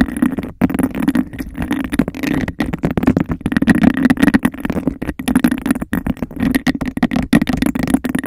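Long nails rapidly tap and scratch a clear, bubble-textured, hollow, empty glass cup placed over the mic. The result is a dense, continuous stream of quick clicks and scrapes with a hollow, boomy resonance in the low mids and a faint bright edge.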